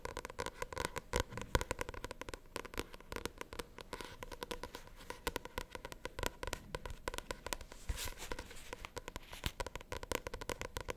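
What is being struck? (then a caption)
Paperback book with glossy card cover. A paperback novel with a glossy cover is scratched and tapped with long nails on its front cover. Dense, quick crackling scratches and light taps run continuously and close up, with brief sharp clicks and a low thumpy undertone.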